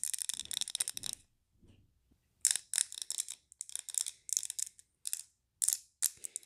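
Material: Glass.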